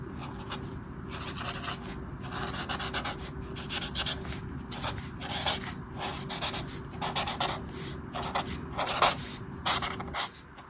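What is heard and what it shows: A black marker pen rubs back and forth across a thin paper page of a colouring book resting on a table, colouring in sections of a mandala. The strokes come as a steady run of dry, scratchy rubbing bursts with a bright papery hiss, rising and falling in loudness over a low, constant background hum.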